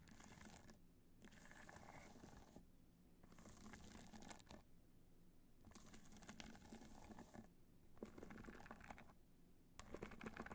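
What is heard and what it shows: Long pointed nails tap and scratch the top of a small, hollow, black hard-shell evening clutch studded with multicolor rhinestones, lying on white fur. Bursts of bright, gritty scratching and crinkly tapping alternate with brief quieter pauses over a steady low hum.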